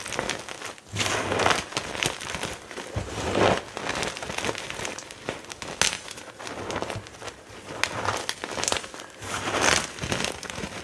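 Hands grab, squeeze and crush handfuls from a heap of crumbled white gym chalk (magnesium carbonate) chunks and powder, rubbing their fingers through the pile. Dense, bright crunching and crackling rises in repeated louder swells of crumbling, with faint low rustling between them.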